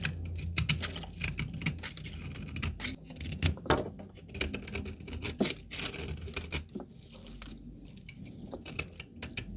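A small, oval piece of dry, cracked brown laundry soap, solid and held in black-gloved fingers, is scraped and shaved with a metal utility knife blade. Rapid, crisp scratching strokes crackle with bright, dry transients over a low steady undertone. Dry shavings fall away.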